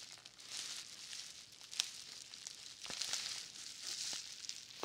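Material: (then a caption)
Plastic. A large roll of plastic bubble wrap with a green label is held in both hands while fingertips press and rub its surface. Soft, bright crinkling and rustling continue throughout, with a few sharper crackles standing out.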